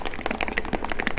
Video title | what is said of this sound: How to apply Thomas Amazing Black Medium® | you really hear that ball going now because what was doing is a gasket a little foam gasket that goes in it will block it from mixing properly